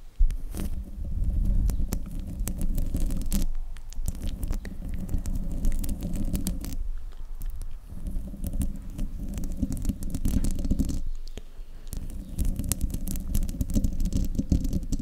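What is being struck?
Metal mesh microphone grille.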